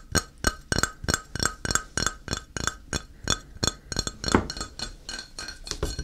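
A flat, solid square grey ceramic tile held upright is tapped with the fingertips, giving about twenty short, bright, glassy clinks in an uneven rhythm. Each tap has a clear ringing tone and high overtones that die away almost at once.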